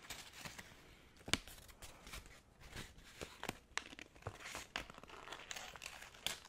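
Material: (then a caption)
Paper. A thin, already-wrinkled white paper sheet is held in both hands in front of the microphone and crumpled and squeezed with the fingers. It makes a steady, bright crinkling with sharp crackling bursts scattered throughout, some sounding like quick tears.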